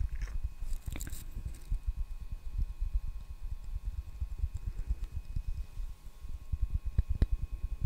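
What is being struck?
Wooden hairbrush.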